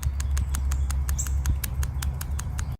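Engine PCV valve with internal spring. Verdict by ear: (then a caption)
Working. An engine PCV valve, removed from the valve cover, is shaken so its internal spring moves, producing a quick, even series of sharp, bright clicks over a steady low hum. The audible spring movement shows the valve is working properly and does not need replacing.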